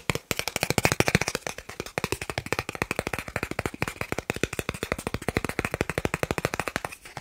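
A thin, solid, credit-card-sized green plastic gift card is held up near the microphone and tapped quickly with fingertips and nails. The result is a fast, steady run of short, dry plastic clicks that continue without a break for about seven seconds.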